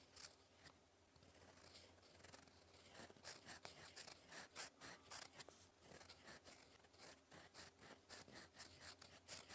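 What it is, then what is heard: Pen nib scratching on paper. A gold metal fountain pen nib, held in fingers, scratches across a flat sheet of cream lined paper on a desk while writing cursive. Soft, bright scratchy strokes come in a quick, uneven series, growing more distinct and a little louder after the first few seconds over a faint low hum.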